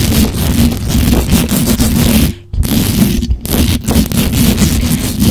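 Long acrylic nails scratch and tap fast on the hollow, perforated metal mesh grille of a black USB condenser microphone. The result is a dense, continuous scraping rasp with a heavy low rumble and a steady hum. The sound breaks off briefly partway through before resuming just as aggressively.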